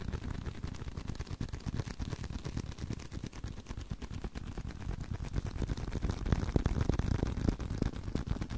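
Fingers tap continuously on a leather card wallet, producing a dense run of soft, dull, low thuds at roughly three per second with almost no ring. The taps stay muffled and bass-heavy throughout, growing somewhat louder and sharper toward the end.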